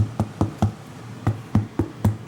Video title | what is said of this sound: Gordon Ramsay's Ultimate Guide To Christmas Side Dishes | Little bang on there. What does that sound like? Drums.